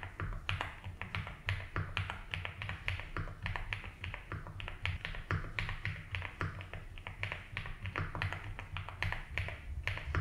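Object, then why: Mechanical keyboard with plastic keycaps. A compact 75% mechanical keyboard with a blue case and white and blue ABS keycaps is typed on slowly with fingertips. Irregular, crisp keystroke clicks with bright transients continue throughout. A steady low hum sits underneath.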